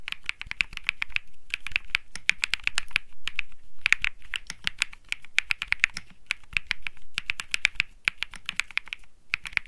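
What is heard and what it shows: Fingertips type continuously on a cream Think 6.5 mechanical keyboard with Bsun Lollipop switches and plastic keycaps. Short, crisp clacks with a bright, high click run in quick bursts, each dying almost instantly, with a soft low thump beneath the key presses.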